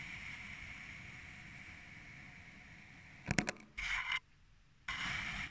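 A thin metal needle or blade cuts slits into purple kinetic sand packed into a small clear glass tumbler. After about three seconds of faint, steady hiss, a quick cluster of sharp clicks is followed by two bursts of bright, gritty scraping.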